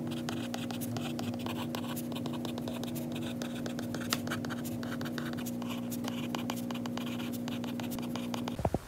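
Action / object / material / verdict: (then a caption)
scrape / stylus tip on a glass tablet screen / glass / none. A white stylus tip held in the fingers writes on a glass iPad screen, making rapid light taps and dry scratches on the glass. A steady low hum runs underneath, and the clip ends with a few louder knocks.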